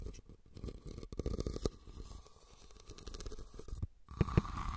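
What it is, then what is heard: Woven rattan basket. Nails scratch the sides and top of a hollow, red, woven rattan cylindrical basket, making a dense, low, crackling scrape of rapid tiny ticks. Near the end, a few louder, thuddier knocks stand out from the scratching.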